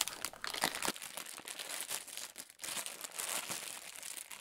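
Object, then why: Thin clear plastic food bag of breadsticks. A small, thin, clear plastic food bag full of breadsticks is held in both hands and worked with the fingertips as it is squeezed and opened. It gives a steady, bright, crisp crinkling with short crackles, dropping to a brief near-silence about halfway through before the crinkling picks up again.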